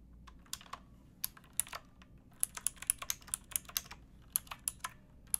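Fingertips with painted nails type on a pink backlit plastic mechanical keyboard with round keycaps and a hollow case, resting on a wooden box. A run of separate, sharp, bright clacks sounds at an uneven pace, each dying away almost instantly over a quiet low background hum.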